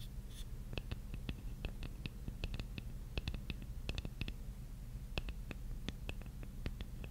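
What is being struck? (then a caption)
Wooden jigsaw puzzle piece. Long nails quickly scratch the face of a large, flat, solid wooden jigsaw puzzle piece, producing a rapid series of short, dry, bright ticks that stop almost instantly. The scratches sit quietly over a steady low hum.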